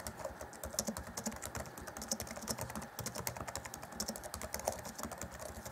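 Fingertips of both hands type rapidly on the black plastic chiclet keys of an Acer Chromebook C20 (2014), set in a grey laptop keyboard deck. The result is a dense, steady stream of quick, dry clacks with a bright, high click on top and a soft low thud beneath, each key dying away almost instantly.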